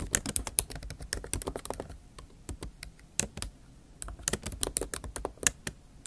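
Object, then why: Laptop keyboard, plastic keys in aluminium body. Long acrylic nail tips type fast on the plastic keys of a MacBook Pro keyboard set in an aluminium body. The result is a rapid run of sharp, bright, clicky taps with a brief lull near the middle before the typing picks up again.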